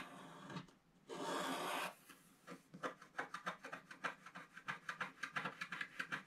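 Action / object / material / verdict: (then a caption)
scrape / black-coated scratch art card scraped with a wooden stylus / coated card / none. A wooden stylus scrapes the black coating along the left edge of a flat, black-coated snowman scratch art card lying on a table, leaving black crumbs behind. A soft scrape is followed by a longer, steady, bright rasp, then a rapid series of short, crisp scratching strokes.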